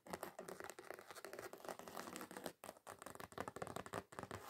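Long acrylic nails scratch quickly across the surface of a flat, thin, solid red glitter-covered card sheet. The result is a dense, crackly scratching with many rapid short bursts, broken by brief pauses. The sound is gritty and mid-range with bright edges.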